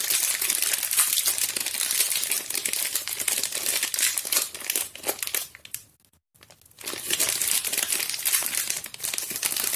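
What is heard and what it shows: A small, solid Harmony strawberry bar soap still in its printed plastic film wrapper is held in both hands with long painted nails and squeezed and crinkled over an empty green plastic bowl. Dense, bright, crackly crinkling runs almost continuously, with nearly no low end. It fades to near silence around the six-second mark, then resumes just as busily to the end.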